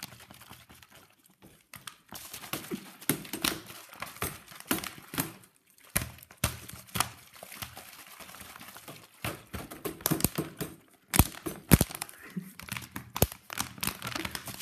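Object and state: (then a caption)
Empty plastic soda bottle being crumpled. An empty, hollow green PET plastic soda bottle with a red cap and red label is squeezed and crumpled with the hands and fingertips over a wicker chair. Irregular bursts of sharp, bright crackling and crinkling snaps rise over soft rustling, with brief quiet gaps in between. Each crackle dies away almost instantly.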